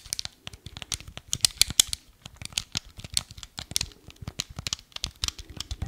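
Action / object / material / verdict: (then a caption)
tap / hard plastic game remote / plastic / none. Fingertips and nails tap and scratch the body and buttons of a small, hollow, black hard-plastic Nintendo Wii remote held in both hands. The result is a rapid, irregular run of sharp, dry, bright clicks with very little low end and no ring, broken by brief crinkly scratching.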